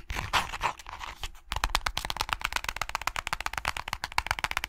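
Fingernails tap and flick the page edges and cover of a small closed hardcover book with pink-edged pages. A soft, scratchy flutter of flicking opens the clip. After a brief pause, it gives way to a quick, steady run of short, crisp, dry clicks that continues to the end.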